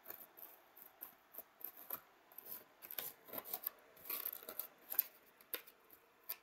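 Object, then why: Molded polystyrene foam tray. A thin pointed stick held in hand scratches and scrapes the surface of a white, hollow, molded polystyrene foam packaging tray with cup-shaped cells. The result is quiet, dry, rasping scrapes and squeaky rubs with a bright, high hiss and almost no low end. The strokes come as short bursts over about six and a half seconds.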